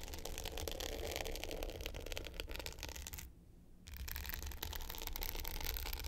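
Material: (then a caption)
Glitter plastic. Long pointed nails scratch the dark blue glitter top of a small, rectangular, hollow hard-case clutch with a gold metal frame, lying flat. They make a dense, gritty, bright scraping with a low hollow rumble underneath. The scratching stops briefly just past the midpoint, then resumes just as steadily.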